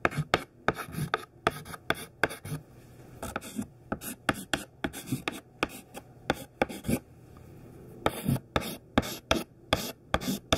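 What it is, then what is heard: Chalk writing on a chalkboard. A thin stick of white classroom chalk, held in the fingertips, writes the word CHALK on a large flat black chalkboard. Quick, dry taps and short scratchy strokes follow one another in a brisk, uneven rhythm, each dying away almost at once. Brief pauses between strokes carry only a faint hiss.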